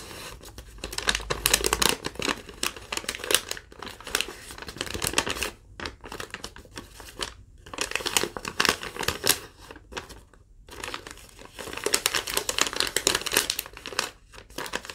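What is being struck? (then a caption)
Thin lined paper sheet. A thin sheet of yellow lined legal-pad paper is pinched at the top and crinkled and torn by fingertips with long nails. Bright, dense crackling and ripping come in bursts, separated by brief quiet pauses.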